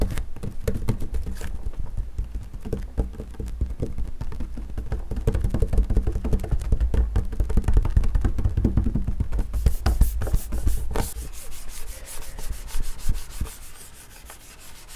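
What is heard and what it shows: Fingertips and nails scratch and tap the flat top of a wood-grain school desk, a large solid panel, in a dense, irregular stream of short, dull knocks with a low, thumping body. Around the ten-second mark the taps turn sharper and brighter before the sound quiets near the end.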